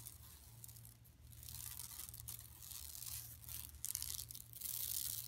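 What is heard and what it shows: Long nails scratch across the textured mesh of a flat, empty yellow woven plastic mesh tote bag lying on carpet. The result is bright, dry rasping in irregular bursts that swell and fade, over a steady low hum.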